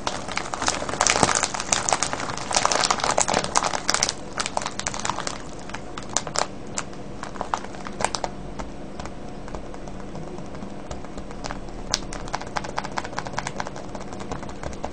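Fingertips press and crinkle a full, clear plastic cellophane bag of wrapped candies with a red label. Dense, bright crinkling fills the first few seconds, then thins into quieter, scattered crackles and snaps over a steady low background.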